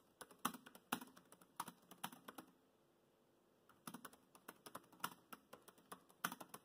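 Fingertips type on the black plastic chiclet keys of a dark grey laptop keyboard, producing quick, crisp clicks with a few louder taps. A burst of typing stops for about a second of near silence, then resumes in a second run of clicks.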